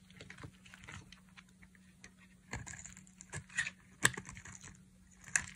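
A black utility knife blade carves and shaves thin curls off a palm-sized, solid, dry pink soap bar held in one hand, with the shavings falling onto a pile of soap flakes below. Quiet, dry scraping and crisp, bright clicking cuts come at an irregular pace, with a few sharper snaps standing out near the end. A faint low hum runs underneath throughout.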